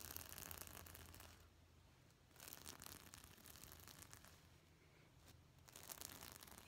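Fingertips brush and scratch up and down over a gold and black reversible sequin pillow held upright, flipping its plastic sequins. The result is a quiet, dense, bright crackling rasp that comes in bursts, fading between strokes and then returning.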